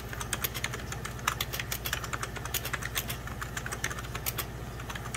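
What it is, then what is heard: Plastic computer keyboard being typed on. Rapid fingertip-and-short-nail typing on a full-size 1990s Packard Bell keyboard, with beige plastic keys over a hollow plastic case, gives a fast run of sharp, bright plastic clicks and taps. Each click dies away almost instantly over a steady low hum underneath.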